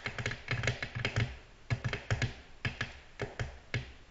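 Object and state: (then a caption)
Glass tabletop. Long natural nails tap on a flat, solid, glossy black glass tabletop in irregular, gentle clusters. Each tap is a short, dry click with a low thump beneath a bright tick, dying away almost at once.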